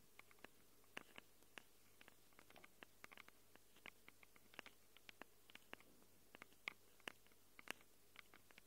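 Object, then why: Handheld recorder microphone capsules, plastic and metal. Long acrylic nails rapidly scratch and tap the metal-rimmed microphone capsules of a small handheld Tascam recorder with a plastic body. About three dozen sharp, dry clicks and scrapes with bright edges (strongest near 2.2 kHz) die away almost instantly. They sound irregularly over a faint low hum.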